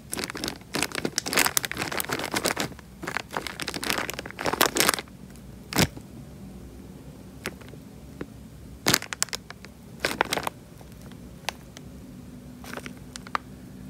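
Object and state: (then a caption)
Water-filled plastic bag. Fingers squeeze and crinkle a small, clear, thin plastic bag full of water, making the water slosh inside. Dense bursts of bright crackling fill the first five seconds, then give way to sparser sharp crinkles and clicks over a quiet background.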